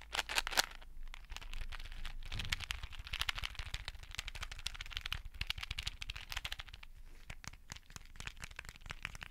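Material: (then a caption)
Plastic. A clear plastic case of colorful beads is held in both hands close above the microphone and tapped and scratched with nails and fingertips. The result is a dense stream of quick, bright clicks and crinkly scratching over a soft low rumble, loudest in the first second and then settling to a steady, quieter patter.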